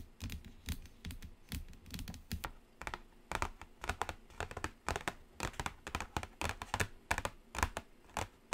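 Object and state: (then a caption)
Cardboard palette tapped with nails. Long nails tap quickly across the lid of a large, flat, black cardboard BPerfect Carnival eyeshadow palette. The result is a steady stream of rapid, dry, clicky taps, each with a soft, hollow low thump and almost no ring.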